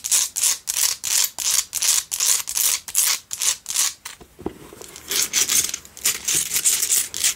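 Long nails scratch the base and top rim of a pink Himalayan salt single tealight candle holder. The result is a run of quick, bright, gritty rasping strokes with almost no low end. The strokes ease into a softer, quieter scrape midway before the sharp rhythmic scratching resumes.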